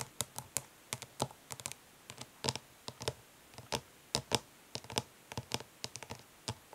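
Long nails tap quickly on the lid of a flat, hollow plastic eyeshadow palette resting on cloth. The result is irregular bursts of short, bright, clicky taps that die away almost instantly, with quiet gaps between.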